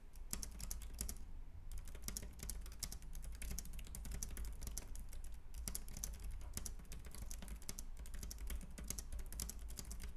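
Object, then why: Plastic computer keyboard. Both hands type with their fingertips on a white, compact plastic Logitech K380 keyboard with round keys. Quick, dry, bright key taps come in a steady, dense stream with only brief pauses, over a constant low hum.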